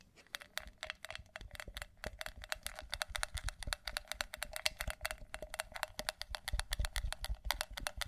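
Long nails tap quickly on the outside of a hollow, pale pink matte ceramic mug with a handle. The result is a dense, uneven stream of short, bright clicks that die away almost at once, over a soft low rumble.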